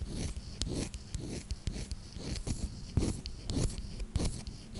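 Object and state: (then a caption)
Glass perfume bottle with wooden cap, scratched. Long nails scratch and rub a small square clear glass perfume bottle with a wooden cap, held in the hand, touching both the glass and the cap. A quiet, uneven run of short scrapes and taps comes at a loose rhythm, with a low rumbling body and faint bright raspy streaks that stop dry with no ring.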